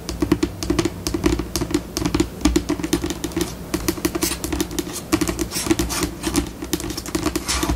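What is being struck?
Laminate tabletop.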